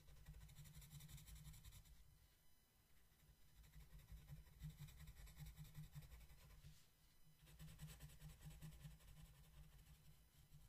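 A blue wooden colored pencil shades a flat paper coloring book page with light strokes, staying on the same page throughout. The result is a quiet, continuous scratchy rubbing with a faint bright hiss over a steady low rumble, easing briefly around 2–3 seconds and again near 7 seconds before resuming.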